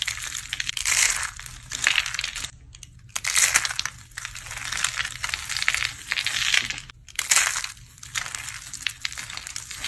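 A pile of dry, brittle blue-teal soap curls and flakes is squeezed and crushed between both palms and fingers with long painted nails. Bright, dense crunching and crackling comes in waves, with short quiet gaps between squeezes.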